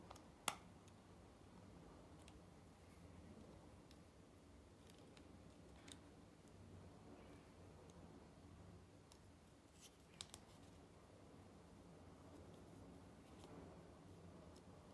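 A small round black plastic powder foundation compact, with a mirror lid and a tan pressed powder pan, is held open in the hand while fingertips touch the powder and handle the hinged lid. Sharp, bright clicks stand out against a quiet, low rustling background, with a loud click near the start and another pair about two-thirds of the way through.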